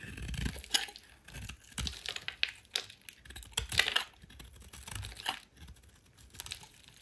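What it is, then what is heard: Soap bar being scraped with a blade. A metal utility blade shaves and scrapes chunks off the corner and edges of a solid rectangular yellow soap bar held in hand, with crumbled shavings lying beside it. The cuts make quiet, dry, crisp crunching and scraping strokes with a bright, papery texture. Each stroke stops short with almost no ring.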